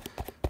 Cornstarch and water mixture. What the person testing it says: it turns solid when you hit it.